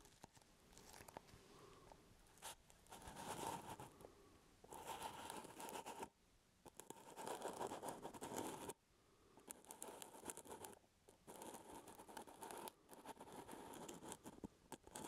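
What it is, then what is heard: Plastic jar lid scratched. Fingertips and nails scratch the brown plastic screw lid of a full, medium plastic peanut butter jar held close to the mic. The result is dense, crackly scratching in several bursts separated by brief pauses, with a faint hollow tone from the lid and a bright edge to the nail strokes.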